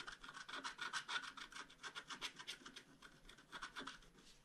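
A bamboo stylus scratches the wing area of a scratch-art paper sheet, a flat card page held flat. About two dozen short, dry, bright scraping strokes follow in a quick, uneven rhythm of roughly three to four per second, each one stopping almost at once.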